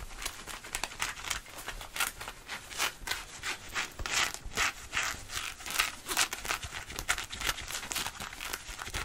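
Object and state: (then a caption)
Denim jeans being scratched. Fingertips and nails scratch and rub fast on thick cotton fabric around the back pockets and hip of blue denim jeans worn on the body. The result is a quick, uneven stream of bright, raspy scraping bursts with little low end and almost no ring after each stroke.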